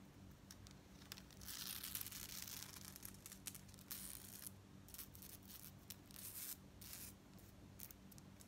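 Long nails scratch along the bead rows of a long gold-tone metal bead necklace with a chain fringe, then the fringe is lifted and stroked. The result is bright, dense rustling and clicking, with a steady low hum underneath.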